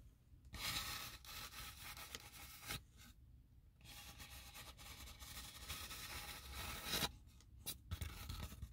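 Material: Polystyrene foam.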